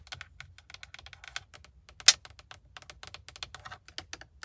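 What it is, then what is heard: Hard plastic steering wheel hub. Long manicured nails tap rapidly across the hard plastic airbag cover and chrome-trimmed logo of a solidly mounted GMC truck steering wheel hub. The result is a quick, steady run of dry, bright clicks with almost no ring, and one sharper, louder tap stands out midway through.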